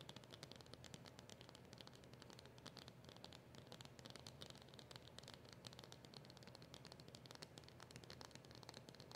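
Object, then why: Small cardboard box. A small black cardboard box with a silver seal is tapped rapidly with long nails. The result is a steady, dense stream of quiet, crisp clicks with bright highs over a soft, hollow low rumble, each tap dying away almost at once.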